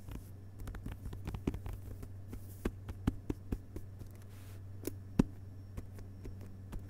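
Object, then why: Hardcover book with paper dust jacket. Fingertips of one hand tap rapidly across the glossy paper dust jacket on the front cover of a closed hardcover book lying on carpet. The taps are soft, dull and very short, with a few louder ones standing out over a steady low hum.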